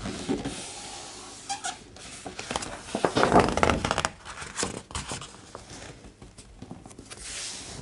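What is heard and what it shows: Fingertips of both hands rub, trace and tap across the thick paper pages of a large open hardcover art book, moving from printed text to blank pages and flipping them. Soft dry rustling and light scattered taps build to a louder crisp flurry of paper sounds around the middle as a page turns, then settle back into quiet brushing strokes.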